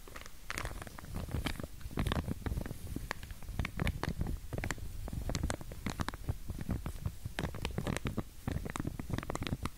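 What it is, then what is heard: Plastic comb in plastic wrap. Long glittery nails scratch and flick along the teeth of a pink wide-tooth plastic comb, still in its clear plastic sleeve and held close to the ear. Dense, rapid scratchy clicks and soft crinkles run throughout over a muffled low thumping rumble, each flick short and dry with almost no ring.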